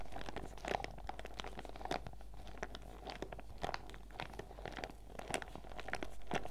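A printed clear PVC zip pouch full of sachets is held upright, squeezed and scratched with long red nails and fingertips. Dense, dry crinkling and crackling plastic comes in quick, sharp bursts with bright edges, over a steady low hum that runs throughout.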